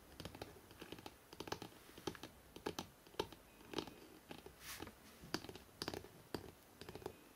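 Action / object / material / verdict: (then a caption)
tap / hardcover book spine / cardboard / none. Fingertips tap quickly along the spine of a hardcover book printed "NEW YORK," then the book is held by its ends. An irregular run of dry, close taps with a hollow midrange knock and almost no ring, broken briefly by a soft brushing swell.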